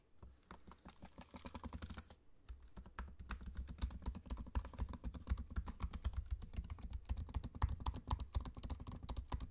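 Fast fingertip typing on a laptop keyboard with plastic keycaps set in an aluminium chassis, with the trackpad beside it. The keys give a rapid, uneven patter of short, dull, low clicks that stop sharply with no ring. There is a brief pause near two seconds, then the typing carries on slightly louder to the end.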